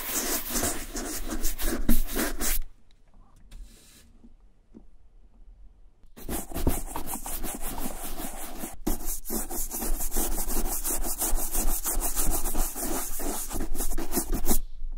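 A large wooden-backed shoe brush with long black horsehair bristles sweeps across the toe and side of a dark, smooth leather Frye vintage two-tone boot in quick, uneven brushing strokes. Each stroke gives a dry, bristly rasp. The brushing runs for a few seconds, drops to a near-silent pause, then resumes as a steady, rapid scrubbing until the end.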